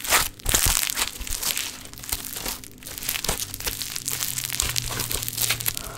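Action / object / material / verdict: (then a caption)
scrape / play foam, foam beads in sticky binder / foam beads / none. Pink play foam, a foam bead modelling clay, is stretched and squeezed between the palms with its beads sticking to the fingers. It makes dense, bright crinkling and sticky crackling with many tiny pops, louder at the start and then steady, over a faint low hum.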